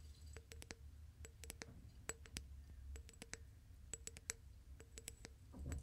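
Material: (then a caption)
Glass. Fingertips and nails tap and grip the wall of a medium-sized, hollow, clear glass vase holding dried plant stems. Quick, sharp, bright ticks come in small clusters, each dying away almost instantly, over a steady low rumble. A soft rustle swells at the very end.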